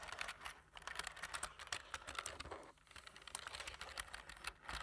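Fingertips of both hands type quickly on a black plastic computer keyboard with a light frame, tapping the keys. A steady stream of short, bright plastic clicks and taps runs throughout, each dying away almost at once, with a brief lull just before the three-second mark.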